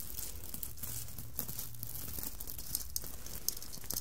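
Long manicured nails scratch and rub across a soft, floppy red Santa hat covered in small plastic sequins on fabric, lying flat on a table. A steady, quiet scratchy rustle fills the clip, with bright, crisp sequin clicks popping out now and then over a low, soft rumble.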